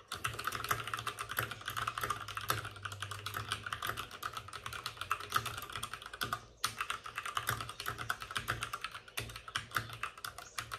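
Both hands tap rapidly with their fingertips on the plastic keycaps of a white, backlit RGB plastic mechanical computer keyboard. The keyboard sits on a desk with a padded wrist rest. The result is a steady stream of quick, bright clicks with a low clack underneath. The clicks pause briefly past the six-second mark, then resume with sharper bursts of keystrokes.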